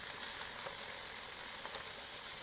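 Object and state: Nothing is struck.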